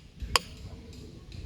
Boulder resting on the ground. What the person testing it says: this one is touching the ground, so I bet it doesn't work